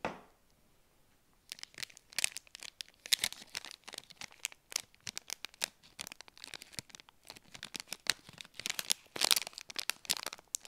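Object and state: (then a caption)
Granola bar in plastic wrapper. A small, solid KIND peanut butter dark chocolate granola bar, still in its clear and printed plastic wrapper, is held in both hands with long painted nails and handled and squeezed. After a quiet first second and a half, the wrapper gives off dense, bright crinkling and sharp crackles that continue to the end.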